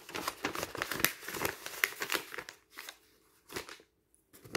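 Fingertips riffle, rub and flick along the edges of a stack of thin paper sheets and booklets, making dense, bright crinkling and rustling. The busy rustle runs for about two and a half seconds, then breaks into a few short, softer flicks separated by near silence, ending on one last sharp rustle.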